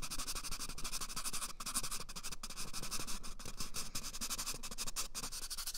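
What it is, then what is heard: Cardboard toilet paper tube being scratched. Fingertips rub and scratch rapidly along the length of an empty, hollow brown cardboard toilet paper tube held right at the microphone's ear. A dense, bright, papery scratching rustle runs continuously with quick, uneven strokes and a low hollow undertone, never pausing.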